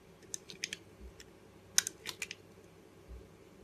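A box-cutter blade slices thin curls off the edge of a solid blue Arko soap bar held in the hand. About nine short, crisp, bright scraping clicks sound at uneven intervals, each dying away almost instantly over a quiet, low background hush.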